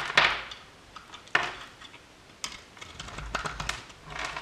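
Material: Soap.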